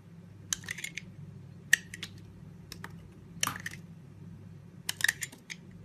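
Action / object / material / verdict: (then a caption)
scrape / bar of soap cut with a blade / soap / none. A red box-cutter blade carves thick curls off a solid, cream-white oval bar of soap held in the hand, cutting and scraping. Short, crisp, bright scraping clicks come in scattered bursts over a low, steady background hum, each stopping almost instantly with no ring.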